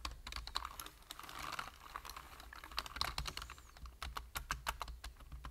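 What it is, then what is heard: Plastic computer keyboard. A full-size black plastic computer keyboard with a hollow body and plastic keys is typed on rapidly with the fingertips of both hands. A quick, uneven run of short, dry clicks and clacks has bright, crisp tops, with a faint low hum underneath.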